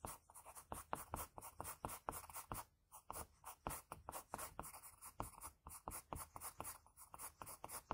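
A graphite pencil scratches long outline strokes along the cheek and jaw of a face drawn on a flat sheet of white drawing paper. A quiet, dry run of rhythmic, papery scratches comes in short bursts with no ring after each stroke.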